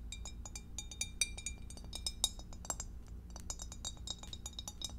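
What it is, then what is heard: Glass food container tapped with nails. Long acrylic nails tap rapidly on the walls and bottom of a clear, empty, hollow rectangular glass food dish with a divider, held in both hands. A quick, steady run of bright, short glassy clicks and clinks rings briefly over a low, constant hum.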